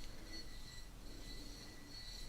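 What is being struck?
Nothing is struck.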